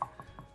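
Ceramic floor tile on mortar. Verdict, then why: Hollow. A ceramic floor tile set on mortar is tapped three times in the middle, giving short, hollow clicks around 1.1 kHz that die away almost at once. It sounds hollow, probably because of a hump or divot in the floor beneath it. It is one of three tiles to be broken up and replaced.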